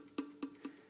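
Four light taps on the pickguard area of an upside-down mandolin rattle its small metal pickguard bracket, whose corner sticks out past the felt pad and knocks against the wooden soundboard. Each tap gives a short, woody knock pitched around 277 Hz with a faint metallic click above it. This loose contact is the source of the mandolin's buzz.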